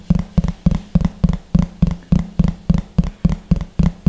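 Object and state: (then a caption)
Plastic plate. Fingertips and nails tap rapidly on the surface of a large, thin, hollow yellow plastic plate held beside the microphone. The result is a steady run of quick, dull, hollow thumps with a low body and almost no bright edge. Each tap dies away almost at once.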